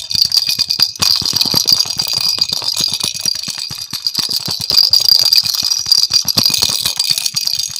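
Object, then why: Hollow plastic ball with a rattle inside. A hand-sized, hollow pink and yellow plastic ball with cut-out holes and a rattle inside is shaken near the microphone. It makes a dense, continuous, bright rattle of rapid tiny clicks with almost no low end. The rattle stays steady for the whole clip, with a brief dip just before the one-second mark.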